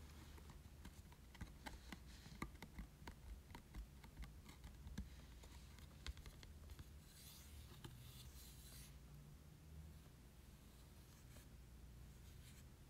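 A printed yellow and grey Pokémon promo card made of glossy cardstock is held in the hand and tapped and scratched with short nails. Quiet, crisp clicking taps and light scratches sit over a low background hum, with a brighter, longer scratching stretch around the middle.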